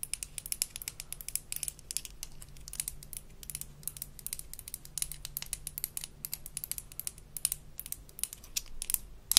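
Long nails scratch the molded bristle head and tap the handle of a small blue plastic toy toothbrush from a Melissa and Doug Super Smile Dentist Kit. The result is a rapid run of bright, dry plastic clicks and scratchy ticks with almost no ring, over a faint steady low hum.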